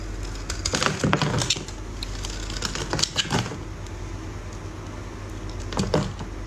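A utility knife blade shaves and scrapes a solid, dry, yellow rectangular bar of soap into crumbly shavings. Bursts of bright, crackly scraping come in three clusters, near the start, around the middle and near the end, over a steady low hum.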